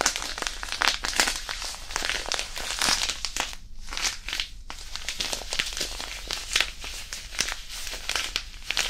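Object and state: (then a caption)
Disposable hand warmer crumpled. A small disposable hand warmer, a white non-woven fabric pouch filled with iron powder, is crumpled and squeezed in the fingers above and beside the mic. It makes a steady run of bright, dry crinkling and crunching rustles with brief gritty crackles. A couple of short quieter pauses break the run.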